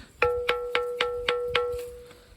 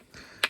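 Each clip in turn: First: Six stone strikes on a granite boulder ring out with a clear, bell-like tone instead of a dull thud. Second: One sharp, dry click of stone on stone that dies at once: an ordinary granite rock with no ring.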